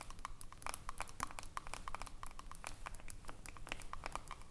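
Long nails tap and scratch the ridged aluminium screw lid of a small, filled glass jar. Quick, uneven light taps overlap with scratchy strokes, each click bright with a short metallic ring near 1 kHz. The tapping runs steadily at a soft, close level throughout.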